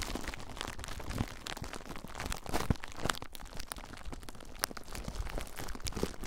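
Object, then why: Plastic bubble wrap. Clear plastic bubble wrap bundled around a recorder is squeezed by fingertips, popping the bubbles. Steady close crinkling and crunching continues throughout, with sharp, bright pops and cracks breaking through at irregular moments over a heavy low rumble.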